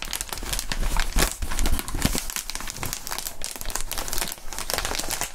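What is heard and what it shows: Clear inflated plastic air column cushion wrap is bent and crinkled by gloved hands, giving a steady stream of dense crinkling and crackling with bright high texture over a low rumble. The sound runs continuously with uneven swells for the whole clip.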